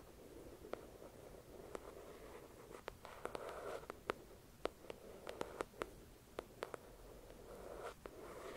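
Long acrylic nails scratch across the glossy cover of a thick paperback novel resting on a white cloth. Soft, low-mid rubbing swells in and out beneath a scattered string of sharp, bright nail clicks that die away almost instantly. The whole clip stays quiet and close.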